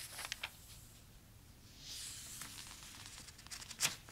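Fingertips rub and trace over the printed pages of an open glossy paper toy catalog, with occasional page turns. The quiet, bright papery hiss swells in the middle, with a few sharp ticks early on and a louder crisp crackle near the end.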